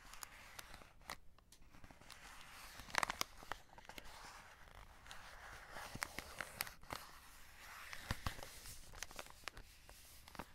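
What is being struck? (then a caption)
Cardboard box with plastic film window. A full cardboard chocolate box with a plastic window is handled as fingertips scratch the plastic window and a flat hand rubs over the printed cardboard. The result is a steady, quiet bed of dry scratching and rubbing, broken by many sharp, bright crinkly clicks and ticks.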